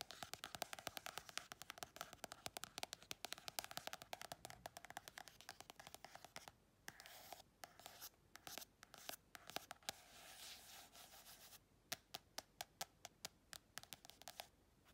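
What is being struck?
Paperback colouring book with card cover.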